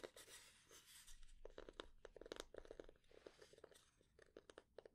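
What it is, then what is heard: Wooden spatula. A light, solid wooden spatula blade is held upright in both hands while long nails tap and scratch its flat face. Quick, dry woody knocks centered around 430 Hz mix with bright, crunchy scratching that fills the gaps. Each tap dies almost instantly with no ring.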